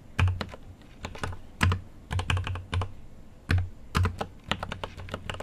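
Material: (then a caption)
Plastic. Fingertips type on a GMMK Pro mechanical keyboard with an aluminum case and plastic keycaps, producing a quick, irregular run of keystrokes. Each press has a deep, low thock with a short, bright click on top, decaying quickly between strokes.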